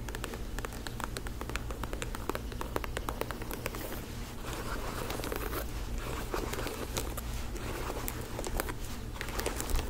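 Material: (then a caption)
Faux leather. A black faux-leather lace-up ankle boot, held by the shaft, is tapped and scratched with long acrylic nails. The result is a dense stream of quick, dry clicks and crinkly scratching over a steady low hum.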